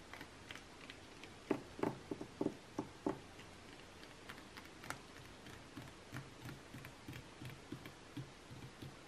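Long nails tap and scratch across the same page spread of an open glossy magazine lying flat, its thin coated paper giving soft, dry clicks and brief rustling scrapes. The taps come in an irregular series, with a louder cluster early on, then lighter, scattered taps over a steady faint hiss, each dying away almost instantly.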